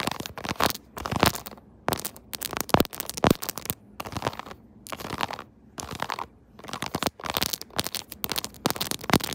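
Long nails tap and scratch the raised, rubbery keys of a pink silicone keyboard-style phone case. Dense bursts of dry, crackly scratching and soft clicking come in quick clusters separated by brief pauses, with a bright, papery texture and little low end.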